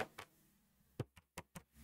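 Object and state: Tightly hooped fabric.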